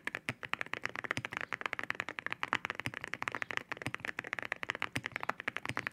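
Fingertips of both hands type steadily on a white 65% mechanical keyboard fitted with ceramic keycaps. About three dozen sharp, glassy clicks come in a quick, uneven run, each bright with a strong tone near 2 kHz. Every click dies away almost instantly, leaving little low-end thump.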